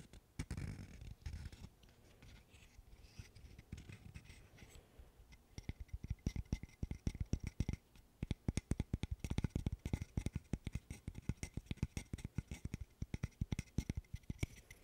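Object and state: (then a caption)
Wooden burr puzzle. A small, cross-shaped wooden burr puzzle made of solid light-wood interlocking sticks is held in both hands and worked with the fingernails. For the first few seconds it is scratched, giving a soft, low, scratchy rubbing. Then come rapid, dry, short fingernail taps that click sharply with almost no ring.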